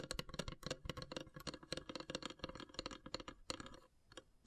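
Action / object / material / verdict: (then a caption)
tap / wooden incense box with carved lid / wood / none. Long grey nails tap and scratch quickly across the carved, perforated lid of a long, narrow, hollow wooden incense box. The quiet, dry clicks have a hollow mid-pitched knock and bright edges, with scratchy rasps between them. The tapping thins out near the end.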